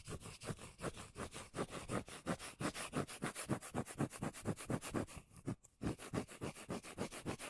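The surface of a cork lid is scratched in quick, even strokes, giving about forty dry, low, bassy rubbing bursts with a brief pause just before the six-second mark.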